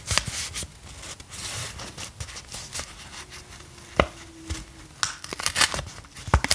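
Long acrylic nails tap, scratch and crinkle a small, flat, thin hand-drawn paper cutout of a "Rainbow Mask" sachet held in both hands. Sharp, bright clicks and crisp crinkles break out of a soft, continuous rustle of paper, growing denser toward the end.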